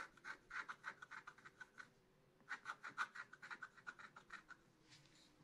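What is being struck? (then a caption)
Coated scratch-art paper scraped with a wooden stylus. A wooden stylus scratches leaves into the upper right of a black-coated scratch-art card in a spiral book. It makes two runs of quick, short, dry scratching strokes, separated by a brief pause, then fades to a faint rub. The strokes have a thin, raspy tone centred around 1.5 kHz with bright upper edges.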